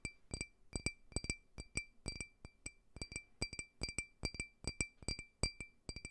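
A small, clear, hollow, empty faceted glass drinking tumbler, held in the palm, is tapped with fingernails in a quick, irregular run of light clinks. Each tap gives a short, bright glassy ping with a steady mid tone and higher overtones that fade almost at once, over a soft low thud from the contact.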